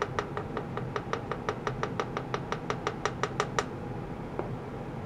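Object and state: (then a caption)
Stainless steel tray, tapped. A shallow oval stainless steel tray or lid, about 30 cm long, hollow and empty, is held by blue plastic clamps on a green mat with a cable attached and tapped repeatedly with a small wooden mallet on a long wooden handle. The taps come as a quick, fairly steady run of short, bright metallic clinks with a ringing tone around 420 Hz that dies away almost at once. The run stops after about three and a half seconds, followed by one faint tap.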